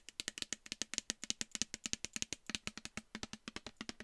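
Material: Plastic.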